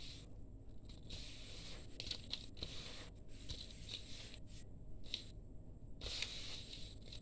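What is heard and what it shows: Hands rub through and crumble a fine, crumbly grey dry sand-cement powder mix in a steel bowl. The result is a steady, quiet run of soft, gritty rustling and crunching bursts with a bright, hissy edge over a low rumble.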